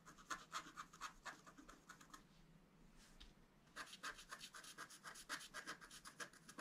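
A wooden stylus scratches a flower between the antlers on a flat black-coated scratch art card lying on a table. Quick, short scraping strokes come in bright, rhythmic bursts with a brief pause in the middle, then resume.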